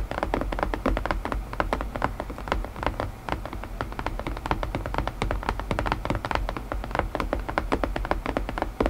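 Fingertips tap rapidly and continuously on a wooden puzzle box, producing dense, short knocks. Each tap is dull and low, dying out almost at once with little high ring.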